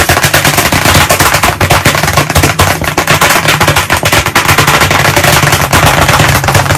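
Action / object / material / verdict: tap / wood-framed chalkboard tapped with chalk / unknown / none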